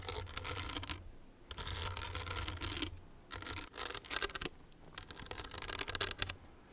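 Long nails tap and scratch the crystals of a small, hollow, owl-shaped hard clutch purse covered in blue, green and clear rhinestones on a metal frame. Bright, gritty scratching comes in repeated bursts with short pauses between them. Sharp clicky taps sit in among the strokes, with the sound mostly high-pitched.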